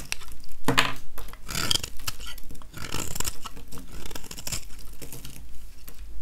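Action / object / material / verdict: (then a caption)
scrape / soap bar scraped with a metal blade / soap / none. A metal utility-knife blade scrapes shavings off the surface of a small, solid, dry oval yellow soap bar held in one hand. The sound is a run of dry, crunchy scraping strokes with crackling, crumbly bursts and quick pauses between passes.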